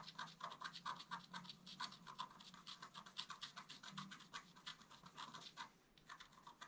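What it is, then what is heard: Scratch art paper. A wooden stylus scratches a flat, black-coated scratch art paper card in rapid short strokes. The result is a quick, steady train of dry, bright scratching sounds with a faint low hum underneath.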